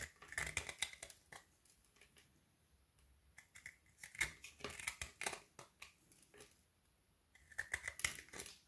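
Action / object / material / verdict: scrape / white chocolate bar with candy pieces, scraped with a knife / chocolate / none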